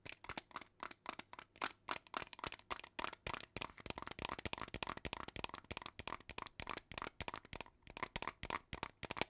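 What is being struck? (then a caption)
Small plastic jar filled with plastic beads. Long teal nails tap a small clear plastic jar filled with colorful plastic beads, and the jar is shaken. The result is a steady stream of quick, dry, bright clicks and rattles that die away almost instantly, centered around 2.3 kHz with little low end.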